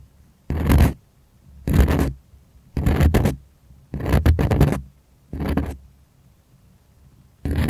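Fingers and nails scratch the taut surface of a white primed cotton artist canvas, stretched on a wooden frame and held near the mic. Six separate bursts of dry, bright scratching each last about half a second, with a deep, low rumble underneath and quiet pauses between them; the last burst is cut off at the end.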